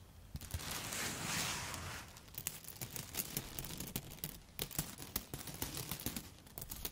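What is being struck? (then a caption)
Bundle of dry spaghetti tapped with long nails. A handful of dry yellow spaghetti sticks, held near the face, is rubbed and tapped with long foil-covered nail tips. It opens with about two seconds of a bright, crinkly rubbing hiss. That gives way to a rapid, irregular run of sharp, dry clicks and snaps that cut off almost instantly.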